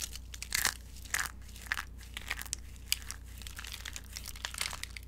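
Fingers crush and crumble brittle, dry orange soap shavings in a glass bowl, then let the fragments fall. The result is a steady run of dry, bright crunches and crinkles with a low steady hum underneath, and a few louder crunch bursts stand out.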